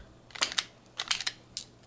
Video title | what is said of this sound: Knife Review: Boker Plus Rhino Calf | you can hear it rattling if i shake it hard enough